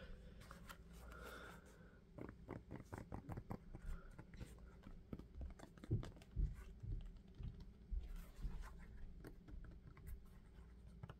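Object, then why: Rubber sneaker outsole. A dark sneaker is held sole-up in one hand while the fingertips of the other hand tap and scratch its patterned rubber outsole. Quick, dull, low thuds come about twice a second, unevenly spaced and mixed with faint scratching of the tread.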